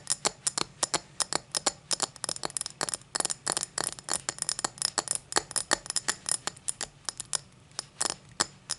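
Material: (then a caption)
Crystal glass. Long black nails tap and scratch the star cuts of an empty tall cut-crystal tumbler lying on its side. About 44 quick, bright clicks and scrapes arrive in an uneven rhythm, each dying away almost instantly with no lingering ring.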